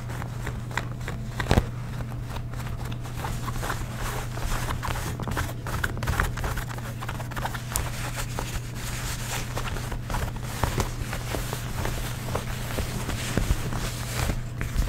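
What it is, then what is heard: Ripped denim jeans. A fingertip and long nail scratch across blue cotton denim jeans with a frayed, distressed rip, catching on the frayed threads. Soft, dry scratching and crackling ticks repeat steadily over a constant low hum.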